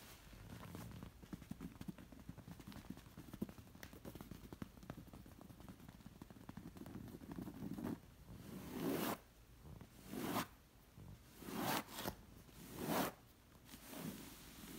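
Fingers with long nails scratch and rake the coarse surface of a zigzag woven textured fabric pillow. The first half is a steady, dense, crackly scratching. It then gives way to a series of louder, fuller rasping strokes separated by quieter pauses.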